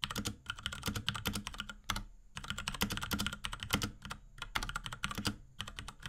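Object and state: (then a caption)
Plastic mechanical keyboard. Fingertips of both hands type rapidly on a small pink Akko X Ducky 3084 mechanical keyboard with Cherry MX Brown switches, plastic keycaps and a plastic case. Quick bursts of crisp, bright key clacks with a low, hollow body are separated by brief pauses, each press dying away almost at once.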